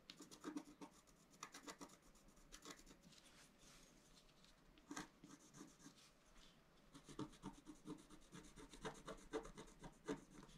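A pointed wooden stylus held in the fingers scratches a flat, solid, A4-size scratch-art sheet, black-coated over rainbow foil, lying on a table. Quick dry rasping strokes come in uneven bursts, with a quieter stretch of light rubbing in the middle. The sound is faint and close, with a bright scratchy edge.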